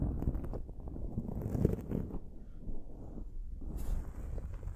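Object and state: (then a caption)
Foam microphone windscreen being scratched. Long nails scratch a dark foam windscreen on a silver microphone. The sound is a low, muffled, rumbling scratching with soft crackles that rise and fall. Almost all of the energy sits in the low range, with only faint high hiss.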